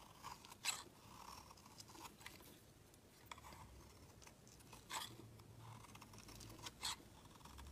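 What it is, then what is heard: Bar of soap being shaved. A steel snap-off utility knife blade shaves a solid white round bar of soap into feathery shavings, making quiet, bright, dry scraping and crunching strokes. Three louder, crisp cutting scrapes stand out among the softer shaving sounds.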